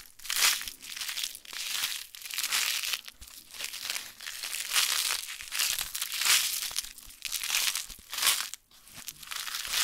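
A small, apparently full plastic-foil Magic Gum candy packet is held in both hands and crinkled and rubbed between the fingers and long nails. The result is a dense, continuous crackling and crinkling with bright, hissy texture and almost no low end. It comes in repeated swells of rustling that rise and fade throughout.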